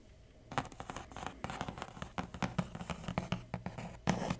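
Fingertips and medium painted nails tap and scratch across the top of a large, flat, hollow brown corrugated cardboard Huawei laptop shipping box lying on a table. After half a second of near silence, a rapid run of dry taps and scratchy scrapes begins, each with a low, hollow cardboard thump that dies away almost instantly. The loudest, busiest flurry comes near the end.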